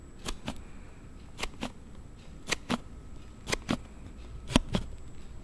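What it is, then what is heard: Plastic sliding phone case snapping open and shut. A Note7 phone in a hard plastic sliding case is snapped open and shut with quick thumb slides, giving an unexpected noise from the case. Sharp, dry plastic clicks come in close pairs about once a second, each a short bright snap with almost no ring, over a faint low background hiss.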